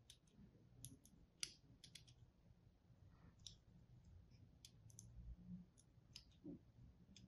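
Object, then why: Bar of soap. A thin wire or thread and a small tool are pulled across a palm-sized, pink-and-white striped bar of dry solid soap held in one hand, cutting into its surface. About a dozen short, sharp, bright clicks and crackles snap out quietly and die away almost at once over a low, steady hum.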